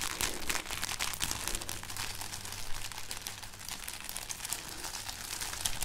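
A string of dried, papery red chili peppers is held up and rubbed and crinkled with painted fingernails. A steady run of dry, bright crackling and rustling continues throughout, over a faint low hum.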